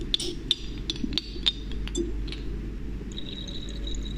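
A glass pipette is drawn out of and pushed back into the neck of a small, partly filled dark glass serum bottle held in hands with long painted nails. Sharp, bright glass clinks tick out over the first half, then fade into a faint, steady high ringing tone over a low background rumble.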